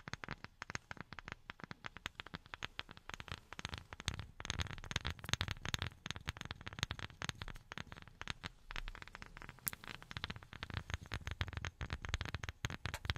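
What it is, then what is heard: Wooden object tapped with silicone finger pads. A wooden object is tapped rapidly with silicone rubber pads worn on the fingertips, giving a dense, continuous stream of soft, dull taps with a low-heavy body and crackly bright edges. Each tap dies away almost instantly, with no ring.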